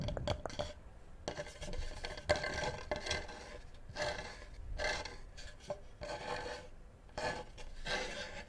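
Fingertips and nails scratch and rub the edge and underside of a flat, solid, light-coloured wooden cutting board held up close to the microphone. A wooden-handled knife rests on the board. The result is close, dry rasping and rubbing in uneven bursts, with short scrapes and a faint tone around 600 Hz.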